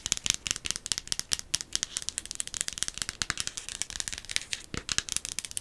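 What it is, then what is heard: Silicone night light. A small, soft-looking silicone ghost night light with a hollow shell is held up and tapped and scratched with long acrylic nails. A rapid, dense series of short, dry clicks and scratchy taps is heard, bright and high-pitched with almost no low end. Each tap dies away almost instantly.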